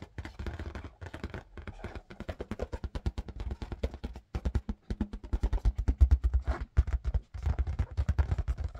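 Fingers tap quickly and steadily on an inflated red marble-pattern latex rubber balloon. The taps are short, dull, low thumps with almost no ring, coming in bursts with brief pauses between them.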